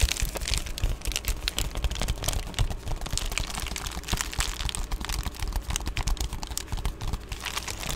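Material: Plastic.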